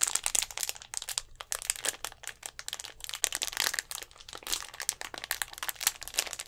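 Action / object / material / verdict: tap / thin plastic drink bottle / plastic / none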